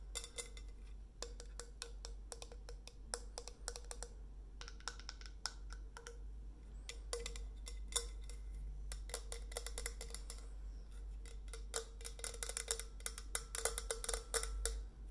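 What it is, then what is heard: Stainless steel insulated bottle. Long nails tap quickly and irregularly on the body and steel cap of a white-printed stainless steel insulated bottle held upright. Many short, bright, clicky taps with a faint metallic ring come in bursts. A steady low hum runs underneath.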